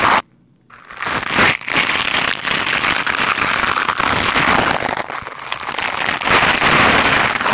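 A black foam microphone windscreen is swept with the stiff white bristles of a lime-green scrub brush, giving a dense, fast, crackling scratch with a bright hiss. After a short silent gap near the start, the rough brushing runs continuously to the end, swelling louder toward the close.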